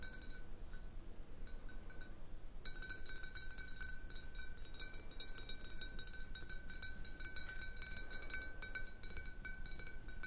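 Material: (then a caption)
Glass. Long blue nails tap the sides of a large, clear, hollow glass jar partly filled with water, resting on a wooden table. Quick, irregular bright clinks and ticks ring with faint glassy tones, sparse at first and then denser and steadier after a couple of seconds, over a low background hum.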